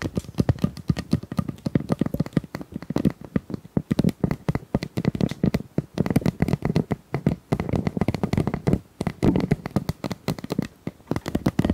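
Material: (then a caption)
Plastic. A pink plastic tube is tapped rapidly and continuously, in quick bursts with brief pauses. Each tap is a short, dull, hollow knock weighted toward the low end, dying away almost at once.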